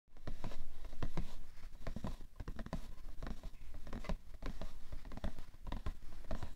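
Fingertips and medium-length manicured nails tap and scratch a rectangular printed cardboard box of Shisara facial tissues (90 count), hollow and likely full of tissues, resting on a fur rug. A rapid, uneven patter of dull, low, muffled thuds that die away almost instantly, mixed with dry scratching.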